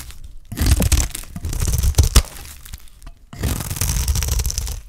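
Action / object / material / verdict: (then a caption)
scrape / bar of soap shaved with a knife blade / soap / none. A solid, dry green soap bar held in the hand is shaved with a utility knife blade into curls. Two long bursts of crisp, crackling scraping are heard, separated by brief quiet pauses, with a bright, crunchy texture over a deep low rumble.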